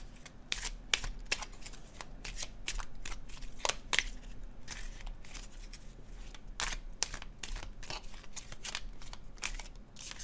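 A red laminated cardstock tarot deck is held in the hands and overhand shuffled above a table, the cards rubbing and sliding against each other. A rapid run of short, bright papery flicks and snaps rises over a soft, steady low rumble throughout.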